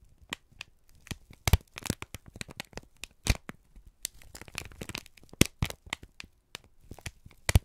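A wrinkled brown kraft paper strip, a crumpled sheet, is squeezed and crinkled by both hands. It gives irregular bursts of dry crackling and crinkling that flare bright, with soft rustling between them. Sharp, quick snaps stand out among the quieter rustles.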